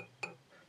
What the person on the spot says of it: the base is metal let me tap it on something listen